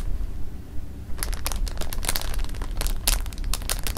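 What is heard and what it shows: Fingertips with painted nails rub, press and scratch the surface of a full, clear plastic bag of jelly beans resting on fabric. After about a second of low, quiet rumble, a quick, uneven run of bright, crisp crinkles and rustles begins. The crinkles carry on to the end over the steady low background.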